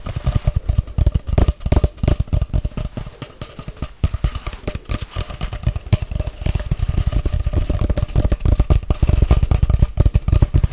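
A long, hollow white-grey cardboard tube held sideways is tapped and scratched quickly with long nails. The result is a dense, rapid stream of short, deep, hollow thumps mixed with dry scratching, continuing steadily throughout.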